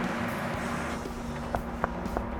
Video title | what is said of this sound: Why Pistachios Are About To Get Very Expensive | Hear that good solid sound? Solid pistachios.